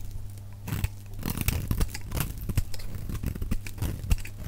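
A metal utility knife blade shaves a solid, dry brown bar of soap held in the hand. The result is a quick run of crisp, crunchy scraping strokes with bright, papery tearing edges. A steady low hum sits underneath.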